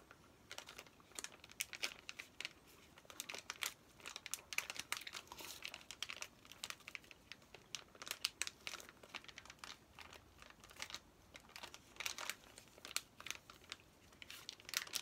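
Fingertips and nails stroke, tap and crinkle the plastic wrapper of a flat, plastic-sealed Paw Patrol paper activity pack. It makes quiet, bright crinkles and quick dry taps in a steady irregular stream, with almost no low end and no ring after each touch.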